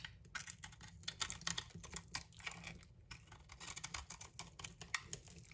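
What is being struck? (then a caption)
Bar of soap scraped with a knife blade. A solid green-and-yellow striped bar of soap with a bronze coating, held in the hand, is scraped with a utility knife blade that shaves off the coating and the soap. The result is a quick series of crisp, dry scratching strokes with a bright, hissy edge and almost no ring after each one.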